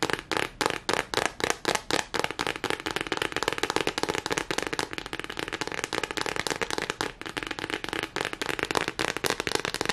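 Fingernails rapidly scratch and tap the smooth back side of a thin, solid, lime-green hexagonal silicone pad. Sharp, dry, bright clicks start as distinct taps, then crowd into a dense, continuous crackling patter. Each tap dies away almost instantly with very little low end.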